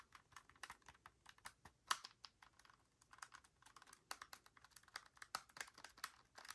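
Fingertips press and click the buttons of a handheld plastic Nintendo Switch console, a hollow electronic device held in both hands with blue and red Joy-Con controllers attached, close to the microphone. A quiet, irregular series of short, dry plastic clicks patters along with a bright, high edge, each tap dying away almost instantly. One sharper click stands out near the two-second mark.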